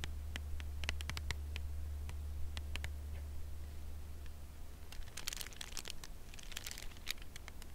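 Long nails tap the front face of a full, upright cardboard chocolate bar box held in the hands, making short, dry, bright clicks. The tapping is sparse at first and grows busier and crisper after about five seconds. A steady low hum runs underneath throughout.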